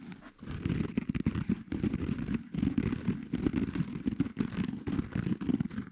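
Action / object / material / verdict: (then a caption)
scrape / foam kitchen sponge with abrasive scouring pad / foam / none. Fingertips and short nails scratch and rub a small pink foam kitchen sponge with a dark green abrasive scouring layer, held close to the mic, working over both the porous foam and the rough pad. The result is a dense, continuous run of muffled scratching and rasping rubs, mostly low and mid in tone with little brightness, broken by brief pauses.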